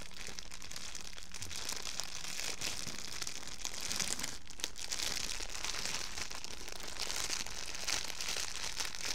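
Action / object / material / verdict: scrape / thin plastic bag / plastic / none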